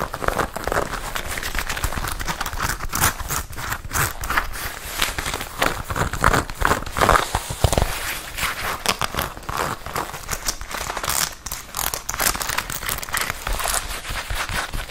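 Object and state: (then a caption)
Leather jacket. A worn red leather biker jacket, a soft hollow garment, is tapped and scratched on the sleeve and chest with long red acrylic nails. Dense, rapid crinkly taps and scrapes run continuously throughout, each one short and dry with almost no ring.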